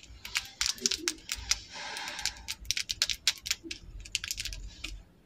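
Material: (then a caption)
Plastic. Long acrylic nails set with rhinestones tap and scratch along the shaft of a small, slim, solid red plastic lip liner pencil held in both hands. About twenty quick, bright, dry clicks are heard, broken by a brief scratchy rasp in the middle. The taps are sharp and close with almost no ring.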